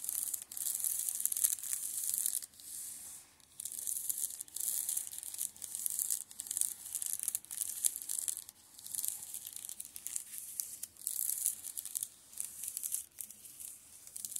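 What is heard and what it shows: An open hand rubs and scratches across the tops of the spines of a row of plastic shrink-wrapped Steel Ball Run (JoJo's) manga paperbacks. The result is bright, crinkly, hissing scratching in uneven bursts, separated by brief quieter pauses, with almost no low end.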